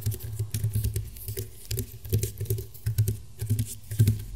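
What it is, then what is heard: Woven rattan mat, fingernail tapping. Fingernail tips tap on the weave of a flat, round woven rattan table mat. Quick, irregular bursts of soft tapping give a dull, low thump with bright, crisp clicks from the weave. Each tap dies away almost at once.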